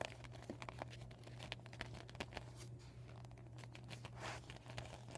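Fingers and nails crinkle and scratch a flat, empty, deflated PVC vinyl beach ball with white and blue panels. The result is a quiet, continuous run of dry crackles and brief bright ticks over a steady low hum.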